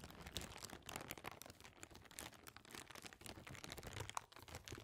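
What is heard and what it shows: An empty, clear, thin plastic bag is rubbed and crinkled between the fingers and stretched open. It makes a steady stream of quiet, dry, bright crackles and rustles with no ring after each one.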